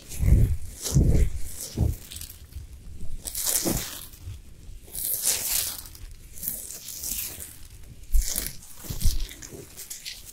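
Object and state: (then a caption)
Himalayan salt lamp being scratched. Long nails scratch aggressively and fast across the sides and top of a large, solid pink Himalayan salt sphere lamp with its light off. The result is a series of rough, bright scraping bursts over dull, low thuds, with short pauses between strokes.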